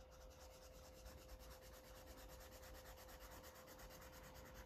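A felt-tip Sharpie marker rubs back and forth across a page of a paper coloring book, a thick stack of white pages lying flat and solid on a cloth surface while the other hand holds the pages. Quiet, steady, rapid scratchy strokes continue throughout, over a low rumble and a faint constant hum.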